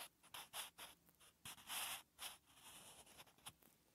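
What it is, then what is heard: Pencil writing on lined notebook paper. A wooden pencil writes on a ring-punched lined notebook page. It makes short, bright scratching strokes in irregular bursts, with little low end, and the strokes stop and start in quick succession.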